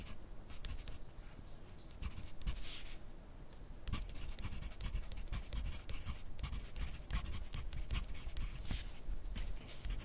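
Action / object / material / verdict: scrape / graphite pencil on paper sheet on clipboard / paper / none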